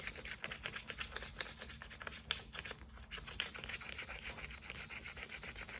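A clear bottle, probably plastic, with a white plastic pump top and partly full of orange liquid (soap or lotion) is held in one hand while fingertips and long nails tap and rub the pump head and the labeled sides. The result is a quick, continuous run of bright, scratchy taps and rubbing with short, dry clicks and almost no ring.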